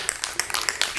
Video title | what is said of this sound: Don't Replace Your Old Stairs. Do This Instead | Shake it until you hear that ball rolling around